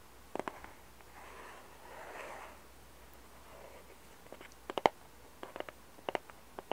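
Long red nails tap and scratch a small, hollow, glossy printed 150-piece Alice cardboard jigsaw puzzle box. A few quick taps open the clip, followed by soft, breathy scratching swells across the surface. The clip ends with a series of sharp, dry taps that stop almost instantly.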